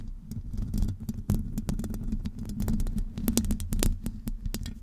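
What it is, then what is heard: Metal mesh microphone grille being scratched. Long acrylic nails scratch the top and sides of a hollow metal wire-mesh microphone grille. The result is a dense, boomy rumble with a low tonal hum, broken by many quick clicking taps that flash bright above it. The scratching stays close and steady, swelling and dipping throughout.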